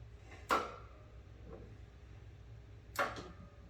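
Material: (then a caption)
Metal. As a Comfort Gear Double Tank Portable 360 Degree Indoor Outdoor Propane Heater (PPH360-18) is leaned over, the tip-over switch inside the unit moves and engages with two short, sharp knocks about two and a half seconds apart, each carrying a brief ringing tone near 1.3 kHz over a low background hum. The switch is operating normally.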